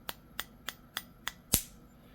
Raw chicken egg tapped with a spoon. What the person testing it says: as soon as you hear that little crack that is the membrane breaking